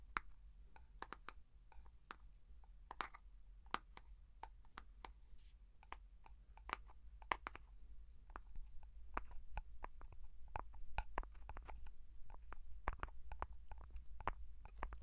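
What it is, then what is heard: Plastic jar. Fingertips tap on a closed plastic Vaseline jar and its blue lid, making many short, dry clicks with a midrange tone around 1 kHz. The taps are quiet and die away almost at once over a steady low rumble, growing slightly denser and louder in the second half.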